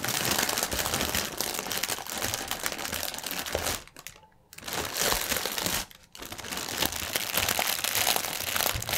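One hand twists a clear plastic air-cushion packaging strip while the other hand's fingertips scrunch it, producing dense, bright crinkling and crackling. The crinkling runs almost continuously, broken by two brief near-silent pauses at about four and six seconds.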